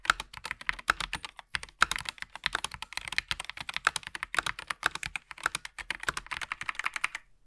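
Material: Plastic.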